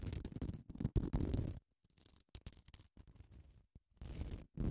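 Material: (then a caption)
Grit foam. Long acrylic nails scratch across the gritty face of a small grey rectangular nail buffer block, made of a solid foam core with an abrasive grit surface and held in one hand. Dense, rasping scratches fill the first second and a half, then give way to softer, broken strokes with short silences between them. A heavier run of scratching returns near the end.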